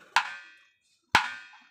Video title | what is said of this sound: 01793505602 ভালো মানের আম কাঠের ঢোল পেতে হলে এখনই অর্ডার করুন কানাই মিউজিক্যাল সেন্টার জয়গুরু | টোকা দিলে কিরকম, মানে কাঁসার যে জুড়ি আছে, কাঁসার মন্দিরের মধ্যে টোকা দিলে যেরকম হয়, দেখেন একদম এরকম